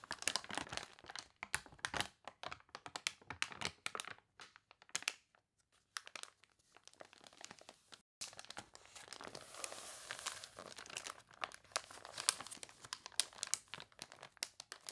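A thick, glossy paper toy catalog with wrinkled pages has a page turned, then long nails tap and scratch across the paper. Bright, dry crinkles and crackles come in quick bursts, with a near-silent lull in the middle. A denser, continuous scratching fills the second half, all high and with almost no low end.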